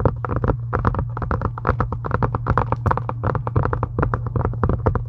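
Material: Faux leather.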